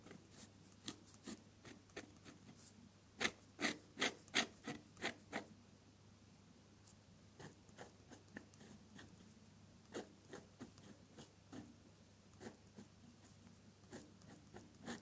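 A metal dip pen nib scratches across a flat sheet of off-white drawing paper resting on a solid surface, drawing with red and purple ink in short strokes. Quick, bright scratchy strokes come in an uneven rhythm over a faint low hum, with a louder run of strokes around three to five seconds before they settle back to lighter scratches.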